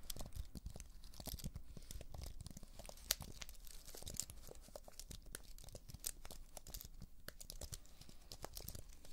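A slim white wireless keyboard with plastic keys on an aluminium frame is held upright in one hand while long acrylic nails scratch and tap across the keys. The result is a quiet, continuous stream of dry scratching and crisp clicks with a low rumbling bed underneath and bright, short-lived tap transients, a couple of them standing out louder near the middle.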